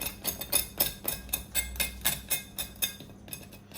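A serrated knife scrapes and knocks on the skin of an oven-baked Asian-style porchetta pork belly, making a steady run of sharp, dry, high-pitched crackling taps, about four per second. The skin is crispy.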